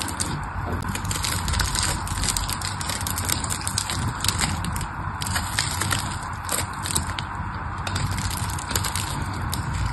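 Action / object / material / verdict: scrape / bar of soap / soap / none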